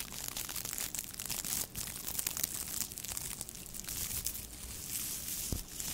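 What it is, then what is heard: Plastic tinsel garland. A thin pink metallic plastic tinsel garland strand, held in both hands above the mic, is rubbed and scrunched between long nails and fingertips. The result is a continuous bright, dense crinkling and rustling with many short crackly bursts over six seconds.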